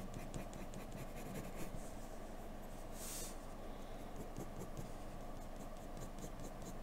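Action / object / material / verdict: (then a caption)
scrape / graphite pencil on drawing paper / paper / none. A graphite pencil held in the fingertips strokes and scratches continuously across a flat white sheet of drawing paper lying on a dark desk as a portrait is sketched. The quiet, steady scratching stays mostly low and soft, with fine ticking strokes and one brief bright hiss about halfway through.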